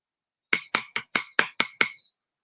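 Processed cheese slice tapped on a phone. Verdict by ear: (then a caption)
Dry. An individually wrapped processed cheese slice that has dried out and gone hard is tapped against a phone seven times. Each tap is a sharp, bright click with a ringing tone near 2.2 kHz that fades quickly, like a solid object rather than cheese.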